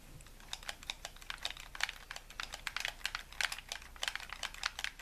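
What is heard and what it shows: A hollow white plastic game controller, held in both hands, has its buttons rapidly tapped and clicked with thumbs and fingertips. The sound is a quick, uneven stream of short, bright plastic clicks with very little ring, over a faint low background hum.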